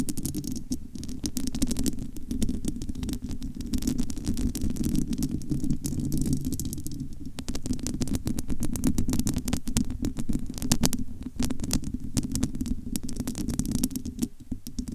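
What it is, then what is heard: Metal mesh microphone grille, scratched and tapped. Long almond-shaped nails scratch and tap across the bare, hollow, domed metal wire-mesh grille of a large studio microphone. The result is a dense, continuous, low rumbling scrape centred around 240 Hz, threaded with rapid dry ticks and crackles. It carries little high-end brightness and keeps a steady level throughout.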